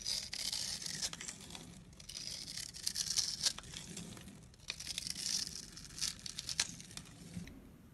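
A metal blade scrapes and carves a solid purple soap bar held in the hand, giving bright, crisp rasping bursts like tearing paper, with short pauses between strokes. Small crumbles patter softly onto the soap shavings below, and there is almost no low-end weight.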